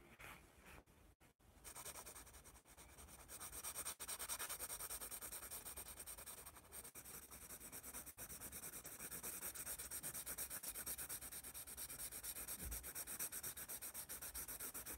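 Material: Paper.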